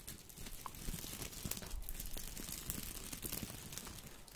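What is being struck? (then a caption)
Artificial boxwood ball with plastic leaves. A small artificial boxwood topiary ball made of plastic leaves is held at the left side of the microphone and rubbed and squeezed with the fingers. It gives a dense, continuous crinkling rustle with quick crunchy snaps and bright crackle over a low rumble.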